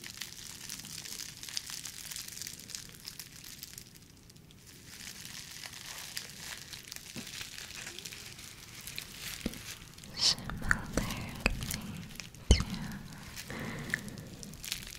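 A small, clear, soft, textured plastic bubble packaging sleeve, hollow and empty, is squeezed and scratched with long nails and fingertips. It gives a steady bright crinkling and scratching that dips briefly quieter around four seconds. Later it turns into louder crackles and sharp pops, with one distinct snap near the twelve-and-a-half-second mark.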